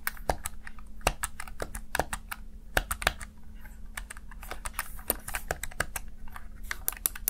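Fingertips tap and press the keys of a small black plastic backlit Razer Tartarus Chroma gaming keypad, making a rapid, uneven run of dozens of short, crisp clicks. The clicks are dry and sharp with almost no ring, over a steady low hum.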